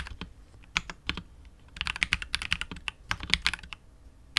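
A KBD67 Lite R2 65% mechanical keyboard with KTT Wine Red switches, PBT keycaps and a hollow, clear translucent polycarbonate case is typed on continuously with the fingertips of both hands. About 19 short, bright, clacky keystrokes come in uneven bursts and pauses, each one dry with almost no ring and little low thump.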